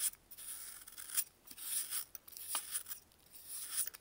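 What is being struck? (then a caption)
Baking soda block. A solid dried baking soda block, held in a gloved hand, is rasped and scraped along its edge with a metal blade. It makes quiet, gritty, high-pitched scraping bursts, some short and some drawn out, with almost no low end and brief pauses between strokes.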